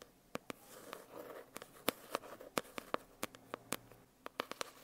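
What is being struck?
Foil-covered hardcover notebook.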